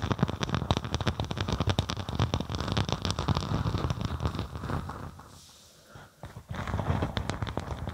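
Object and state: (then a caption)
Faux snakeskin vinyl sheet being scratched. A thin faux snakeskin vinyl (synthetic leather) sheet draped over a binaural microphone is scratched with the long acrylic nails of both hands. The result is a dense, rapid, crackling scratch with a heavy low-end thump. It fades to near silence around the fifth to sixth second before the scratching resumes.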